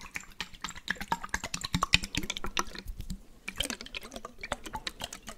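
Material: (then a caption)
Glass. A small clear glass jar, partly filled with water and closed with a blue checkered lid, is held and shaken while fingertips tap the glass. Quick, bright, dry taps and clicks fall in an uneven, rapid stream, each dying away almost instantly over a soft low sloshing of the water inside.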